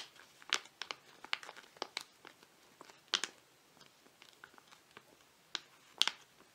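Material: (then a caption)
Foil laminate. A flat foil-laminate face mask sachet with a zebra design is held in both hands while fingertips tap and scratch across it. Quiet, bright crinkles and sharp, dry clicks come in uneven bursts, with no low end and no ring after each tap.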